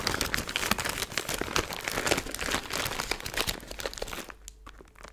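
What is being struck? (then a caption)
Plastic zip-top bag filled with foil glitter. A small clear plastic zip-top bag with a green seal, full of silver glitter or foil bits, is held in both hands and crinkled and squeezed with long blue nails and fingertips. Dense, bright crackling and crinkling runs steadily for about four seconds, then thins out into softer, sparser rustles at the end.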